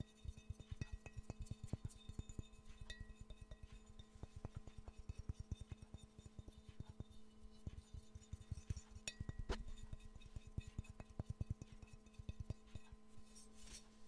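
Fingernails tap all over the glazed body of a hollow, empty yellow ceramic Pikachu mug with a handle. A quiet, rapid, uneven series of short, dry clicks and knocks sounds with almost no ring, set against a steady low hum.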